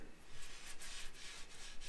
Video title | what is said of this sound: WHY YOUR PAPER TAPE BLISTERED!! | when you get here there's a hollow sound you can hear there's a blister there